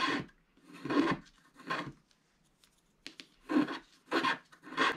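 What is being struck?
Wax-coated scratch art card scratched with a wooden stylus.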